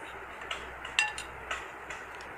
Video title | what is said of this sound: Kachori Recipe - کچوری - Keema Kachori Recipe - Special Ramadan Recipe at home | देखिए आवाज़ कितनी खस्ता आ रही है इसकी, देखिए आप आवाज़ से पता चल रहा होगा आपको कि कितनी खस्ता बनी है।